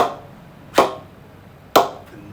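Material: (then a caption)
Willow. A new cricket ball is knocked twice against a Kookaburra Beast Pro 2022 willow cricket bat in a ping test, giving two sharp, bright knocks with a resonant ping centred around 650 Hz. Each knock decays quickly in a quiet setting, and the bat's ping is excellent.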